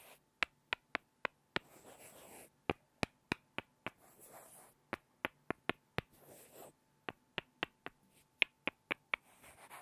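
Two small, solid light-wood blocks are tapped together by hand, giving 23 short, dry, bright clicks in quick groups with almost no ring. Soft, breathy rustling fills the gaps between the groups of taps.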